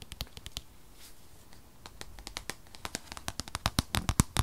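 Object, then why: Rigid paperboard box. Long fingernails tap and scratch a rigid, unwrapped white paperboard box for an 8th-generation 2020 iPad, tablet-sized and held in the hand. Short, dry, bright clicks with a soft low thump come irregularly, sparse at first, then growing faster and louder toward the end, with faint scratching between them.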